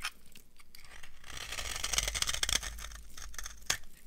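A solid, dry, old yellow soap bar is shaved into flakes with a metal knife, producing a crisp, crunchy scraping with bright, high-pitched crackle. The shaving swells to its loudest in the middle of the clip, with a sharp snap near the end.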